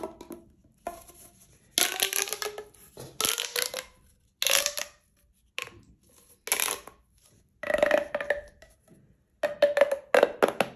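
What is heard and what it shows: A single hollow pink corrugated plastic pop tube, about 30–60 cm long, is held in both hands with fingertips and long manicured nails and is stretched, compressed and bent so its ridges pop and crackle. The result is a series of separate bursts of dry, bright crackling and clicking. Some bursts carry a brief whistly tone around 560 Hz, with short silences between them.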